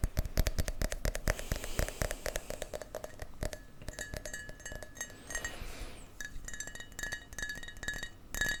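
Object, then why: Small drinking glass. A small glass shot glass is tapped repeatedly, giving many quick, clear glassy clinks. The taps fall close together in dense runs, with a faint bright ringing tone that holds between some of them.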